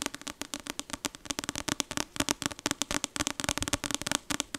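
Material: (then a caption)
Paper. Long acrylic nails tap rapidly on the glossy card front cover of the paperback novel "Icebreaker," which has a solid paper block and is held up in one hand. About thirty quick, crisp clicks come in an uneven, fast rhythm, each bright and dry and stopping at once with no ring.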